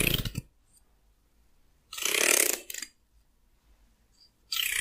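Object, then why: Wooden hair comb. A hand-sized solid wooden hair comb has fingernails flicked and scratched across its teeth, producing bright, crackly bursts of raking clicks. Three separate scratching passes are heard, with a quick trailing flick after the second and near silence between them.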